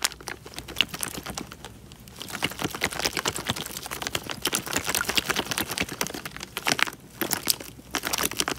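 A clear, thin plastic bag full of water is squeezed and crumpled with fingers close to the mic. Dense, bright crinkling and crackling runs throughout with quick sharp ticks and little low end, rising and easing in waves.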